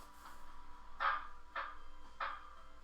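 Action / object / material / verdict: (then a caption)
strike / steel truck brake drum / steel / frozen. A steel truck brake drum with the brakes frozen is tapped three times, giving short, dull knocks centered near 1.2 kHz that die away quickly instead of ringing like a bell. The taps strike the drum only, not the friction material or shoe, and the dead sound indicates the brakes are frozen.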